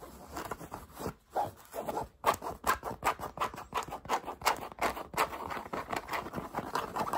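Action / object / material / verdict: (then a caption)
scrape / cotton fabric cap / cotton / none. Fingertips and nails quickly scratch and tap the brim and front panel of a light green Volcom cotton baseball cap with a woven patch. The result is a fast, uneven run of dry, short fabric scratches and soft taps, centered in the midrange with almost no low end or ring.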